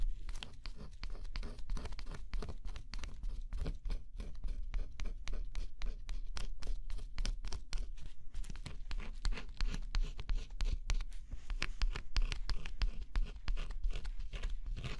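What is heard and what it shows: A thin pointed scraper scratches the black scratch-off coating off a flat cardboard jigsaw puzzle. The sound is a quiet, steady run of short, dense scraping strokes with a low rumble underneath and brief bright edges on each stroke.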